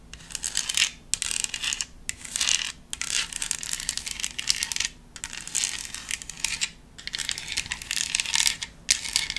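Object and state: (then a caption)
Decorative foam pumpkin. Long acrylic nails tap and scratch a hollow, hand-sized black decorative foam pumpkin with a white spiderweb print. The result is bright, crisp clicking and scraping in dense bursts broken by short pauses, with very little low end.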